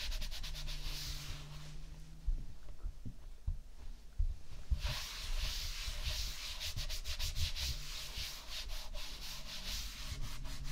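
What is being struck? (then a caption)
Layer of kinetic sand on a ceramic plate. Fingertips and a flat palm rub and stroke a smoothed layer of tan kinetic sand on a white ceramic plate. A soft, grainy rubbing hiss with bright, scratchy texture and a low rumble underneath runs throughout. It eases off in the middle, then returns as brighter, busier strokes.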